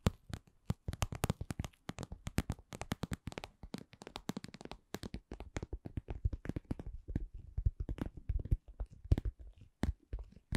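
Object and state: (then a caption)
Cosmetic pouch. A cosmetic pouch is tapped in a steady run of dozens of quick, soft taps at a slow-to-medium pace. The taps are dull and low-pitched, with almost no ringing after each one.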